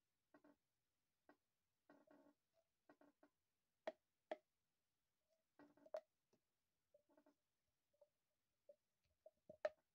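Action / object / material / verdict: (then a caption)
scrape / corrugated plastic pop tube / plastic / none. A hollow, empty, corrugated pink plastic pop tube is held in both hands and bent, pulled and compressed so its ribs pop. The result is a scattered series of short, dry plastic clicks and snaps, some in quick rattling clusters and a few sharper, louder pops. Each one stops almost instantly, with a hollow midrange tone.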